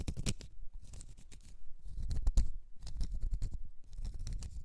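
Long red nails scratch a small, solid, round cork stopper, making quiet, dry scraping in quick bursts of short strokes. The sound is dull and low-heavy, with brief gaps between the flurries of scratching.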